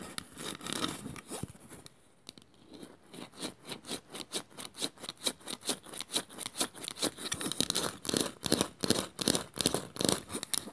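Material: Bamboo.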